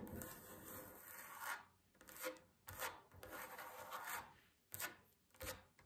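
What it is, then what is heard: Wooden tabletop scratched with fingernails. Long fingernails scratch across a solid wooden tabletop in a series of raspy, rubbing strokes that swell and fade unevenly. Each scrape has a dry, bright texture. The hands lift off the surface at the end.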